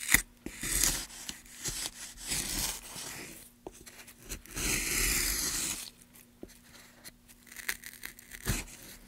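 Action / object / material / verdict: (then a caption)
scrape / pine wood block / pine wood / none. A gloved hand carves a groove into a solid light pine block, about 30 cm long, resting on a dark table among shavings, using a wooden-handled gouge. Bright scraping and cutting strokes come in bursts, with a steady low hum underneath and several sharp clicks between strokes.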